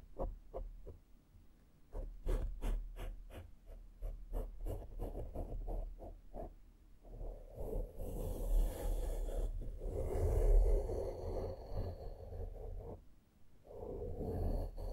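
The bristles of a small flat makeup brush are pressed and swept across a black foam microphone windscreen. A quick series of short, soft brushing strokes gives way to continuous scratchy rubbing. The sound is muffled and dominated by low, deep rumble.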